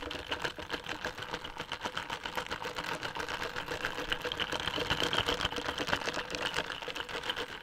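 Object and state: Plastic iced coffee cup, full.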